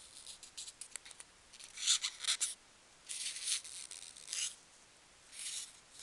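A single small, solid, S-shaped polystyrene foam packing peanut is squeezed and rubbed between the fingers while long nails scratch it. Quick, dry scratchy ticks give way to longer, bright, sharp squeaks in bursts with quiet gaps between them. The sound is almost entirely high-pitched, with no low end.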